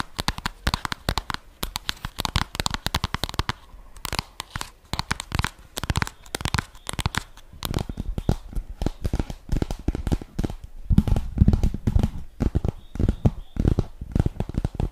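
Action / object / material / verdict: tap / flat cardboard makeup palette box / cardboard / none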